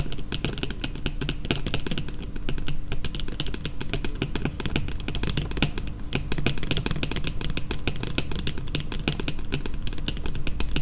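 Long painted fingernails tap quickly on a flat yellow printed cardboard card lying on a table. The result is a steady, dense stream of short, dry clicks with bright edges over a constant low hum, holding an even level for about eleven seconds.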